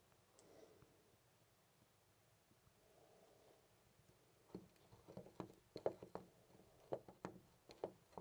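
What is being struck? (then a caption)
Brass door knob. A hand grips and jiggles a loose, brass-colored metal door knob on a white door. After about four and a half seconds of near silence, short, dry metallic clicks and rattles start, coming unevenly and growing slightly louder. They center in the low-mid range with a little high tick.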